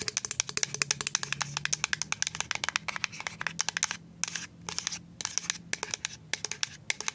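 A full white plastic liquid soap pump bottle is tapped and scratched with paper-clip nails, producing a rapid, uneven stream of sharp, bright clicks with no ring. Brief scratchy patches sit between the taps, with a few short pauses near the end.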